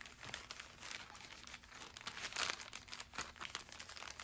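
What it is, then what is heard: Kraft paper bag being crinkled and folded. A thin, flat brown kraft paper bag on a wooden table is smoothed flat with fingertips and palms, then folded and creased. Bright, dense crinkling and rubbing paper sounds come in short bursts, with the loudest crinkle near the middle and almost no low end.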